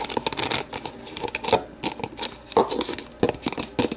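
Long nails scratch and tap the rim, inside and base of an empty, translucent plastic deli container as it is held and turned. A rapid, uneven series of dry, hollow clicks and taps with a mid-pitched plastic knock mixes with bright, high scratching. Each tap dies away almost instantly, with little low end.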